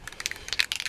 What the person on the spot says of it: you want to hear that ball rattle for at least a minute